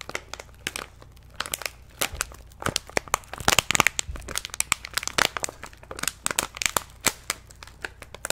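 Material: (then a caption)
Plastic. Hands squeeze and crinkle an orange-and-white plastic stand-up snack pouch held close to the microphone. Dense, bright, sharp crackles snap without any ring over a faint low hum. Brief louder bursts come near the middle.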